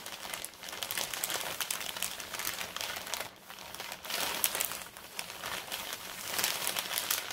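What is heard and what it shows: Both hands rub and scratch the plain back side of a large, flat, empty brown kraft paper mailer bag with their fingertips and long red nails. The result is a steady, bright crinkling and scratching texture with dense, rapid papery rustles that swell and dip in waves. There is almost no low end.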